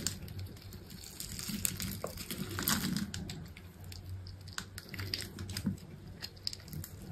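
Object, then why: Bar of soap cut with a knife. A utility knife cuts and scrapes cubes off a solid green soap bar with a black outer layer, scored in a grid. Dense, crumbly scraping and crackling runs throughout, with bright crisp ticks over a steady low hum.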